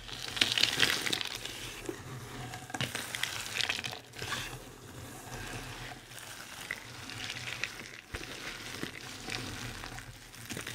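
Bare fingertips press, crush and scoop a large heap of thin, dry white, blue and pink soap curls and flakes in a white tray. The sound is a dense, bright, crackling crunch with rapid, irregular crinkles that swell and fade as the hands work through the pile.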